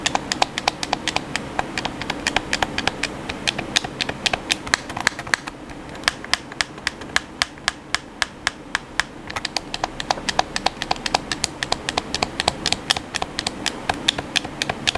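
Fingertips tap the buttons of a hollow black plastic PS4 controller in a quick, steady stream of sharp, dry clicks. Each tap is bright and very short, with almost no ring, over a soft bed of low rustle that thins out briefly midway.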